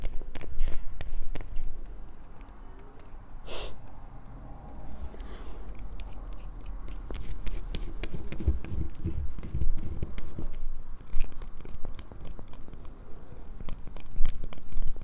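A small, solid light-blue bar of soap is held above a table and scratched and picked at with long nails. The result is a steady stream of short, dry scraping clicks and crisp ticks with a low, muffled undertone and occasional brighter picks.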